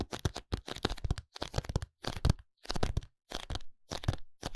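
A small paperboard contact lens box is tapped on its faces with fingertips and short nails. Quick, dry clusters of taps and light crinkles come in short bursts separated by brief silences. The taps are low and thumpy with a papery crackle and no ring.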